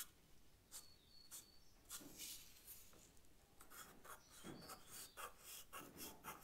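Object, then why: Charcoal stick on paper sketchbook. A charcoal stick is rubbed and scratched across the paper of a sketch pad while shading, making quiet, irregular strokes of bright, scratchy hiss with a soft, breathy rub underneath. Faint high tonal sounds drift in the background between the strokes.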